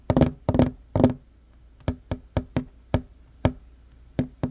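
Fingertips and short nails of both hands knock and tap rapidly on a flat, solid wooden table top. Three quick clustered bursts of knocks come first, followed by separate single taps at an uneven pace. Each hit is a dry, woody thud with a short, low-mid ring that dies away almost immediately.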